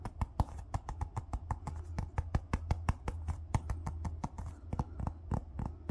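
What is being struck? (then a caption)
Small hollow plastic ball. A small hollow yellow plastic ball with a seam line is held in the hand and tapped and rubbed with fingertips and nails. A quick, steady series of short, dry, bright clicks dies away almost instantly, with soft scratchy rubbing between taps over a steady low hum.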